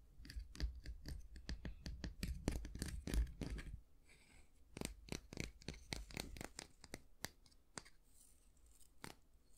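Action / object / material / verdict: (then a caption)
scrape / wooden long-handled bristle brush / wood, bristle / none. A solid, light wooden long-handled brush with a natural-bristle head is played by hand: fingertips scratch across the bristles and nails tap the wooden handle. For the first four seconds, quick, bright, crackly scratches come at about four per second over a low rumble. Then the sound thins to sparser, crisp dry clicks with almost no ring.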